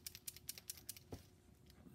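The metal reversing plunger inside the E-unit of a Lionel #51 switcher toy train rattles as the unit is shaken up and down. Quick, bright metallic clicks are heard, with one duller thud near the middle. The plunger moves freely without hanging up after WD was sprayed inside to free it, which is the desired result.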